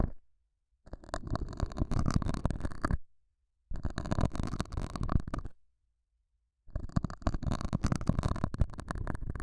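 A metal dental scaler hook scratches the surface of a small, solid, square beige felt pad mounted over a small lavalier mic. Three bursts of dense, rough, low-heavy scraping and rumbling are heard, separated by short silences.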